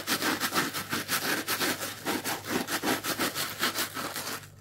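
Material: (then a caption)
Plastic. Fingertips scratch the pink coarse plastic scouring layer of a dry, palm-sized, strawberry-shaped kitchen sponge with a yellow foam base, held in one hand. The result is a rapid, rhythmic run of dry, bright, rasping scratches that fade out at the end.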